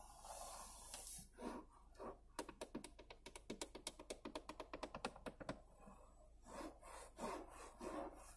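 Long painted fingernails scratch and rub across the large, hollow, molded black grained-plastic passenger-side dashboard of a Toyota RAV4, giving soft, hissing friction sounds. In the middle they break into a rapid run of sharp, dry taps with almost no ring, then return to rubbing and scratching.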